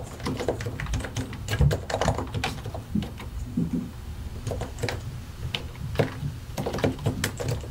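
Both hands type continuously on a solid white and grey plastic mechanical keyboard, fingertips pressing and tapping the keycaps over their switches. The result is a steady, irregular stream of short, low, thocky key clacks that die away almost instantly, with only faint bright clicks on top.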